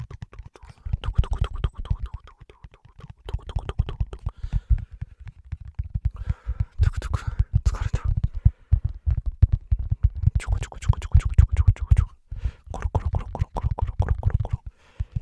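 A large, flexible black rubber foam mouse pad is curved in the hands and scratched on its textured foam side with the fingertips and short nails. The result is dense, rapid, dull scratching and soft thumping, heavy in the low end. It comes in bursts separated by brief pauses.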